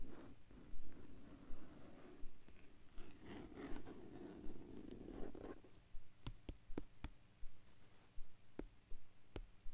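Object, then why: Plastic binder cover. Fingertips and short nails scratch across the dusty surface of a large, flat black plastic/vinyl binder cover lying on a blue blanket, making a soft, continuous rasping sound for about five seconds. The scratching then gives way to a series of sharp, crisp taps on the cover, separated by quiet gaps.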